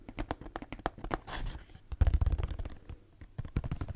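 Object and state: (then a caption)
Cardboard tissue box. A hollow, cube-shaped pink and purple Kleenex cardboard tissue box, held in both hands, is scratched and tapped with long nails close to the mic. Quick, dry taps and scratches come in dense bursts with a deep, hollow low thump. A brief soft scraping hiss is heard in the middle, and a louder flurry of taps follows right after it.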